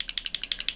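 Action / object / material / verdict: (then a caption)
shake / small paint bottle with a mixing ball inside / unknown / none. A small bottle of amethyst paint stain is shaken well before use, and the little mixing ball inside rattles against the bottle. About nine quick, evenly spaced, bright clicking taps are heard, dry with almost no low end.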